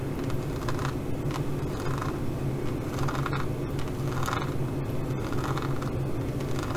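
Long fingernails scratch over a green glossy faux leather pouch covered in pyramid studs, with a gold zipper. The scratching comes in steady, rhythmic strokes that rasp in the mid range over a constant low hum, with no clear breaks between them.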